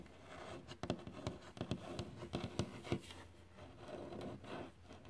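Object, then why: Varnished wooden surface. Fingertips tap on a glossy, solid varnished wooden surface, producing quick, dull, dry taps that stop almost at once. Soft scratchy rubbing fills the gaps between the taps.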